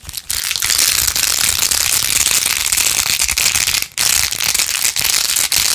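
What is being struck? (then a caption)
Plastic phone case covered in plastic pearl beads. Long acrylic nails fast-scratch and tap across rows of pink plastic pearl beads glued onto a handheld, rose-gold-edged plastic phone case. The result is a dense, bright, crackling rattle that runs almost continuously, broken only by a short gap near the start and another brief drop just before the four-second mark.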